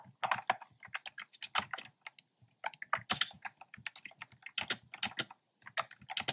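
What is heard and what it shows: Fingertips with short painted nails type on a black plastic keyboard with hollow round pastel retro keycaps. A rapid run of short, bright, hollow clicks with almost no ring pauses briefly twice before continuing.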